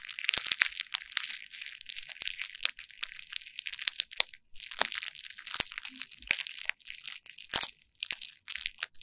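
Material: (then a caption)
Plastic. A hand with long nails rolls a small derma roller with a green needle head across a flat sheet of clear plastic bubble wrap on a table, crushing and crinkling the bubbles. The result is a dense, bright, crackling crinkle, nearly all high in pitch, broken by sharp, quick snaps and pops that stop at once with almost no ring.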